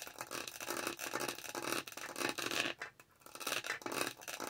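Long nails repeatedly scratch the dotted texture of a lavender plastic tumbler lid close to the mic. The result is a dense run of bright, raspy scratching strokes with a brief quiet pause near the three-second mark.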